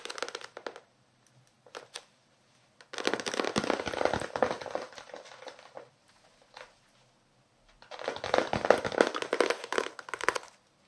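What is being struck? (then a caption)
Paperback book with card cover. Fingertips and nails tap and scratch the card cover of a small paperback novel held close to the microphones. Short crackly bursts at the start give way to two long stretches of dense, rapid scratching and tapping, with quiet gaps between. The sound is dry and papery, centered in the mids with bright, crisp edges and almost no low end.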